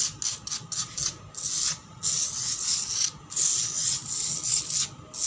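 Long black pointed nails of one hand scratch fast and hard across a solid, cracked concrete floor. The result is bursts of bright, raspy, hissing scrapes with almost no low end, separated by brief pauses.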